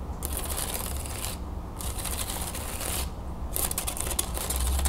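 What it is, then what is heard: Wooden folding fan. Long nails flick and scratch across the thin perforated slats of an open wooden folding fan, then fold it closed. Rapid, dry, bright clicking and scratching comes in bursts with two brief pauses, over a steady low rumble, and grows sharper and more distinct toward the end.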